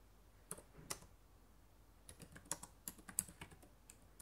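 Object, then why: Plastic laptop keyboard keys. Fingertips and long nails type on the plastic keys of a black laptop keyboard. Two isolated taps are followed by a quicker run of short, sharp, bright clicks with no ring, all at a quiet level.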